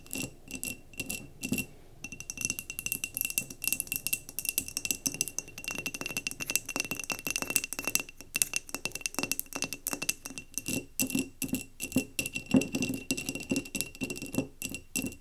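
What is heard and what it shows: Long nails tap rapidly on the glass sides and rim of a mason jar candle filled with solid wax, resting on a table. The clicks are quick, bright and dry with a faint low body, and a steady high ringing tone runs underneath from about two seconds on.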